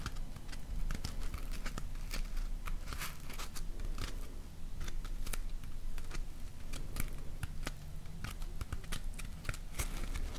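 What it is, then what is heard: Polyethylene packing foam block. A hand-sized, solid, layered block of white polyethylene packing foam is scratched and rubbed with long nails. It makes dense, crinkly scratching with many sharp bright clicks over a low rumbling bed, and the level stays steady throughout.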